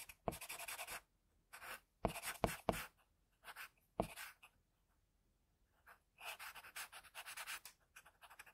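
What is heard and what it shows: A pencil tip scratches fine strokes across a flat sheet of drawing paper while a hand rests on tissue. Quiet, bright, scratchy bursts of strokes come in irregular clusters separated by short silences, with a few sharper taps standing out.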